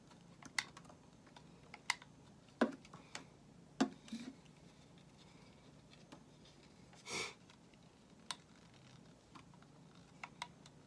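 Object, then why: Solid bar of soap cut with a metal knife blade. A solid white bar of soap held in the hand is shaved with a metal utility knife blade. About a dozen short, crisp scraping clicks sound at irregular intervals, with one longer, brighter shaving stroke near the middle. A faint low hum sits steadily underneath.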